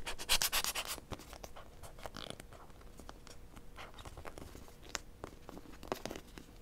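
Long nails tap and scratch the surface of a small blue plastic robot-shaped toy held in the hand. A dense burst of bright, hissy scratching opens the clip, then gives way to quieter rustling broken by sharp, irregular plastic clicks. A faint steady tone hums underneath throughout.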